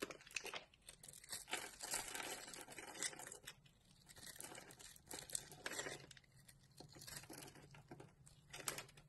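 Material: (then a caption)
Soap. A solid green embossed soap bar with a pre-scored surface, held in a palm by a hand with purple nails, is scraped and cut into curled strands with a utility knife blade. Dry, crinkly scraping and crisp cutting come in bright bursts of varying length, separated by brief quieter gaps.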